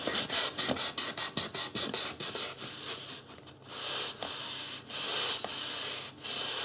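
Fingertips of both hands rub and scratch the scalp of a life-size white polystyrene foam mannequin head with marker-drawn hair. A quick series of short, bright, dry scratching strokes gives way to longer, steady, hissing rubs, with almost no low end.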